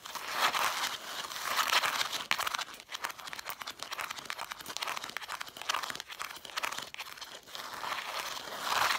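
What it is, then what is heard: Cloth-bound hardcover books scratched. Long nails scratch fast across the red cloth spines, lettered in gold, of a stack of cloth-bound hardcover books. The result is a dense, crisp, bright rasping with no low end, swelling and easing in steady waves throughout.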